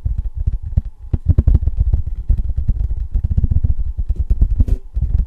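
Fingertips and nails tap fast on the bare silver back of a thin tin novelty license plate. The result is a quick, uneven stream of dull, low thumps with brief clicks, each dying away almost instantly with no metallic ring.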